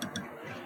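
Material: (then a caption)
Steel. A metal guitar string, held down at the third fret, is tapped twice over the first fret, giving two quick, bright ticks followed by a faint low ring. The audible ticks show a small gap between the string and the first fret, so the nut is high enough and the open strings won't buzz.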